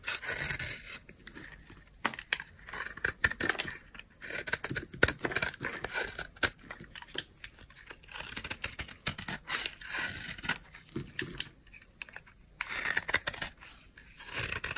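A utility knife blade, held in one hand, scrapes a palm-size solid oval bar of dry white soap held in the other. Irregular bursts of short, bright, crisp scraping strokes follow one another, with brief quiet pauses between runs and almost no low end.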